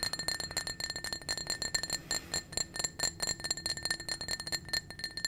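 A small, hollow, empty clear blue-tinted glass drinking cup is held in the hand and tapped and scratched rapidly with painted fingernails. The result is a fast stream of bright, high clinks with a steady ringing glass tone and very short decay between hits.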